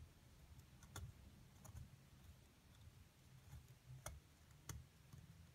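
A thin metal pick scrapes and chips at a solid white plaster dig-kit block carved with hieroglyphs, loosening crumbly chunks while a hand with long nails steadies the block. Quiet, bright clicks and ticks of the pick sit over a low, steady rumble. A few sharper taps stand out.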